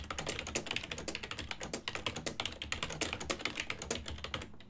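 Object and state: Plastic computer keyboard being typed on.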